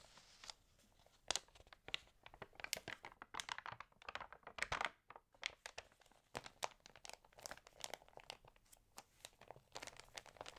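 Fingertips and long nails rub and flip the thin pages of an open, water-damaged glossy-paper magazine. Dense, bright crinkles and crackles come in quick, sharp bursts with almost no low end and no ring, over a quiet background.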